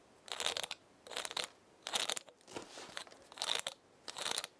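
Long nails and fingertips scratch and rub the woody scales of a large dry pinecone held in the palm. The result is six short bursts of dry, crackly crunching with bright, high-frequency texture and no low end, separated by brief quiet gaps; the fourth burst is softer.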